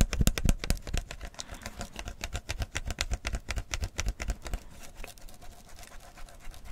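A full, clear plastic PET tea bottle with a gold label is held while fingers and nails quickly tap and scratch the label and the plastic body. The result is a rapid, uneven stream of dry, short taps with dull low thumps and bright, crisp scratchy clicks. The taps are loudest in the first second, then settle into a steady, quieter patter.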